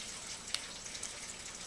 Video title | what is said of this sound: Prepping Gold, Silver, and Copper. | just going to go dink. You don't really hear a ring.